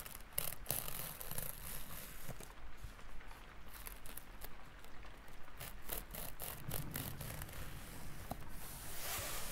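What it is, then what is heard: Feather rubbed between fingertips. Fingertips rub and pinch the vanes along the shaft of a long, large, dark brown feather held up in the air. Soft, crisp rustling and scratchy strokes repeat at an uneven pace, with sharp bright ticks over a steady low hum. The sound grows brighter and hissier near the end.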